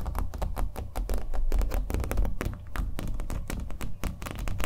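A fingernail taps rapidly on the painted surface of a small, hollow-backed, acrylic-painted stretched canvas held in the hand. The taps come in quick, overlapping runs of dull, hollow thuds with a deep low body and almost no brightness. Each tap dies away almost instantly.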